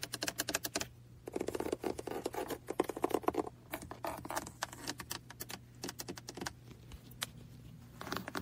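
A small, hollow, red plastic computer mouse shaped like a car, with a cable, is held in the hands on a lap while fingertips and nails tap and click over its body and underside. The result is rapid bursts of dry, bright clicks and light scratchy tapping with almost no ring, over a faint steady low hum.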